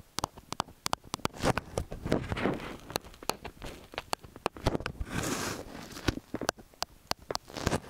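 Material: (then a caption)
Metal. A small black-bodied stereo microphone with two hollow, silver metal X/Y capsules with mesh grilles sits on a white round stand while fingertips and short nails from both hands tap and press on the capsules. The result is a close, uneven run of dry, sharp clicks and taps over soft, muffled rubbing and pressing textures that swell and fade. The clicks reach bright highs, and the pressing adds low, boomy thumps.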